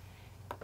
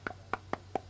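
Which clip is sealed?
The first.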